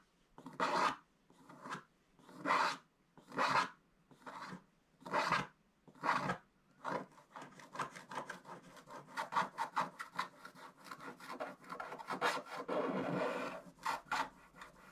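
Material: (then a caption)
Waxed paper. A wooden stylus scratches the black wax layer off a scratch-art paper page near its top edge. It starts with slow, separate raspy strokes, then speeds up into a quick, continuous run of short dry scratches. The sound is a soft, papery rasp centred in the mids with a little brightness.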